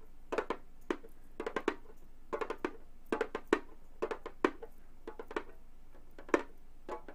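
Long gold metal claw fingertips tap and drum rapidly on the textured synthetic head of a round, hollow Remo frame drum about 30 cm across. Quiet, dry taps come in quick irregular clusters, each with a soft midrange thump around 350 Hz and a brief papery brush of the claw tips. Every hit dies away almost instantly.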